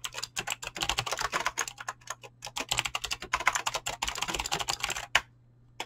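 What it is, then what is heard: Mechanical keyboard with clicky switches and PBT keycaps. Fingertips type quickly on a mechanical keyboard with clicky green switches and PBT plastic keycaps. A dense, steady stream of sharp, bright clicks runs almost to the end, closing with one louder keystroke before the sound drops to near silence.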